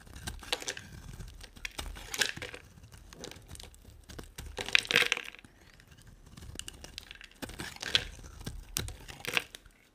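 A utility knife blade shaves and cuts a solid, hand-sized white rectangular bar of dry soap. The blade makes crisp, bright crunching, crackling and scraping bursts in uneven waves, with short pauses between. Each cut is dry and sharp and dies away almost instantly.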